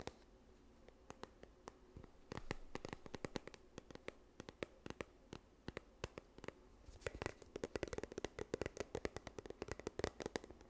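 A yellow plastic sunscreen tube is held close to the microphone and scratched with long nails along its body. The result is a quiet stream of rapid, sharp clicks and scratches, each dying away almost instantly, with a hollow mid-range plastic tone. The scratching grows denser and louder in the last few seconds.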